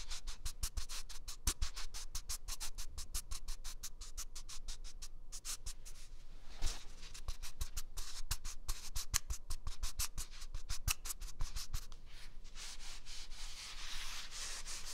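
A single large white paper toilet roll with a hollow core is scratched and rubbed with the fingertips while being moved from the left to the right microphone ear. Rapid, dry scratching strokes crackle brightly over a low rumble, turning into a smoother, airy rubbing hiss near the end.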